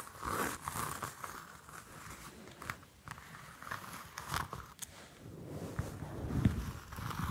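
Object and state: Orange peel tapped and scratched.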